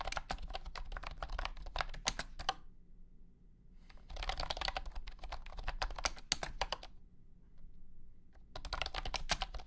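A blue and white honeycomb keyboard with hexagonal plastic keycaps in a hollow plastic case is typed on with the fingertips of both hands. Bursts of bright, sharp clicky keystrokes come in three runs separated by quiet pauses, with a low hum underneath throughout.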